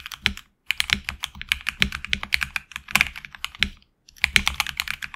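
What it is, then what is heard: Mechanical keyboard with PBT plastic keycaps. Fingertips type continuously on a HyperX Alloy Origins Core tenkeyless mechanical keyboard with HX Red switches, PBT plastic keycaps on an aluminum plate, and a hollow case with a tape mod. Rapid, bright, crisp key clacks with very little low end and almost no ring follow one another quickly. The typing stops briefly twice along the way.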